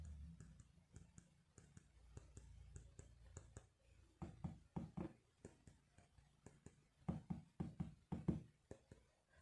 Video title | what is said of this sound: 5 Things I HATE About my iPhone 12! | you can feel how much better it sounds